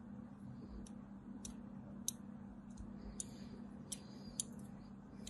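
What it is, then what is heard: Bar of soap being carved. A thin metal blade carves parallel lines into the edge of a solid white bar of soap with a crumbled corner, held in the hand. Eight short, bright, crisp scraping clicks sound over a quiet, steady low hum, each dying away almost instantly.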